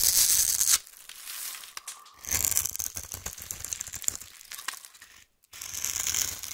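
A solid rectangular white bar soap, held in one hand with long painted nails, is scored and shaved into crumbly cubes with a metal knife blade. Dry, bright crackling scrapes and rapid, irregular crumbly clicks continue throughout, with a short silent gap near the end before the scraping resumes.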